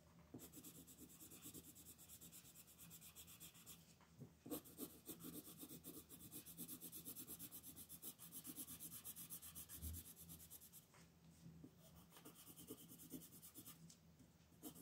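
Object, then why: Colored pencil on a paper sheet. A green wooden colored pencil, held by a hand with long nails, shades the horn on a flat white paper coloring sheet lying on a table, using fast rubbing strokes. The result is a quiet, steady, scratchy rasp of pencil on paper with brief brighter bursts, over a faint low hum.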